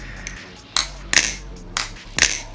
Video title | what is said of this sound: Baliplus Replicant (REP CLONE) Review | I don't want to mess with that because it sounds good listen to that